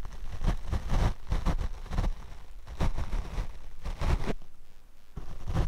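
A paint brush is brushed across the black foam windscreen on a Rode microphone. It makes a series of dull, low, rumbling swishes that rise and fall in close bursts, with brief quieter gaps between strokes.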